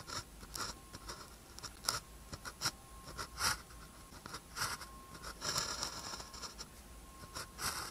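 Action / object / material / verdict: scrape / ballpoint pen on a thin paper sheet / paper / none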